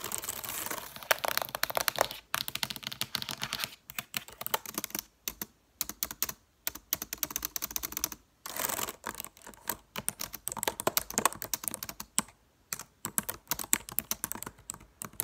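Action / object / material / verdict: tap / plastic laptop keyboard keys / plastic / none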